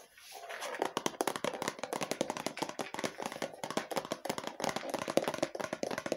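A hollow red plastic lotion bottle with a printed label is tapped and scratched with long fingernails. Rapid, light, dry clicks run in a steady stream over a soft scratching hiss, each tap ringing briefly around a mid-range tone.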